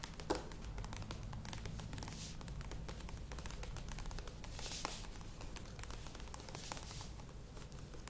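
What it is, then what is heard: Plastic yogurt tub. Long nails tap and scratch the curved sides of a medium plastic yogurt tub with a lid standing on a table. It makes a quiet, steady stream of quick crinkly taps and scratchy rustles over a low, rumbly bed, with brief bright crackles throughout. A few sharper clicks stand out, one near the start and one around five seconds.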